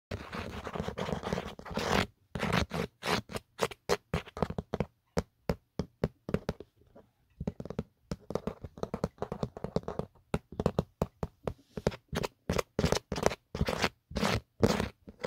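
Fingertips and short nails scratch and tap the raised geometric pattern inside an empty black plastic/rubber Otterbox phone case, a hollow shell lying on a blanket. Rapid, dry, broadband scratching bursts alternate with short, sharp taps that stop almost instantly. There is a brief quiet gap partway through before denser scratching resumes.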